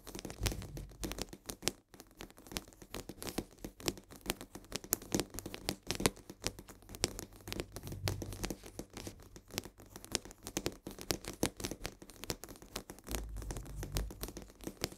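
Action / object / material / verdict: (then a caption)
scrape / cardboard salt box / cardboard / none. Long nails scratch and tap rapidly on the sides of a full cardboard box of coarse salt held upright. The result is a dense, continuous stream of dry, crinkly scraping and quick, short taps, with bright papery detail and soft low thumps from the box.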